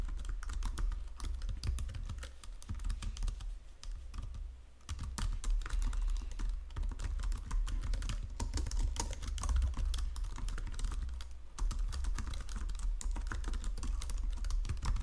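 Fingertips and nails type steadily on a white plastic Logitech keyboard resting on marble, making a dense run of quick, crisp key taps and presses. A constant low hum sits underneath, and the typing briefly eases off a little before 5 seconds and again around 11.5 seconds before picking back up.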